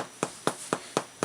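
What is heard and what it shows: A loaf of bread is tapped five times to check whether it is cooked. Each tap gives a short, dull thud with little ring. The dull sound means the loaf is underbaked, since a cooked loaf would sound hollow.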